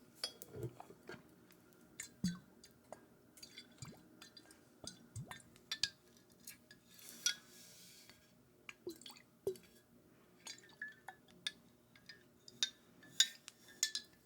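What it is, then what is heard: Glass whisky bottle. Repeated light tapping on a glass Macallan Scotch whisky bottle produces a series of short, bright glassy clinks. Each tap dies away almost at once, with little low end. The taps come irregularly over the whole stretch at a quiet level.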